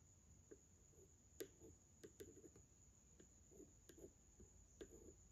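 A yellow wooden pencil is traced and tapped along the facial features on the glass over a framed drawing of a Madonna and child. Soft, sharp ticks and brief scratchy strokes sound against a quiet low rumble and a steady high whine.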